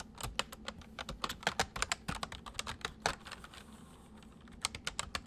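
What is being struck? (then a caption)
Plastic mechanical computer keyboard. Fingertips of both hands type on a white full-size plastic mechanical computer keyboard, producing a rapid run of about 28 sharp, bright clicks. Each click is short and dry, with a steady low hum beneath. The typing pauses briefly near the end, then resumes with a few final keystrokes.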